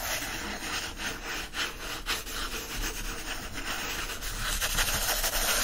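Fingertips rub and scratch the paper pages and page edges of an open hardcover book resting on a blanket. The result is a steady, dry, bright scratching and rustling with repeated soft strokes.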